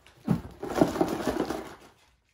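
A child shakes a cardboard surprise box holding loose packs of balloons and an activity paper. The contents make a dull, muffled rattle and shuffle: a sharp first jolt, then about a second and a half of continuous soft knocking that fades to silence.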